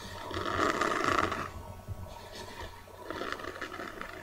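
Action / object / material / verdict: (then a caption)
scrape / cardboard notebook cover / cardboard / none. Long dark-painted nails scratch and tap the kraft-cardboard cover of a hand-sized, solid notebook printed with a birdcage and ink splatters, held up close. A dense, raspy scraping swells for the first second and a half, fades to softer scratches and light taps, then returns in a second burst near the end.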